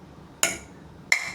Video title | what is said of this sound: 숟가락 재료로 요요를 만든다고? 30년 요요장인이 끝까지 숨기려 했던 5가지 요요소재 | ha ezt hallgatod inkább egy pattogó labdára hasonlít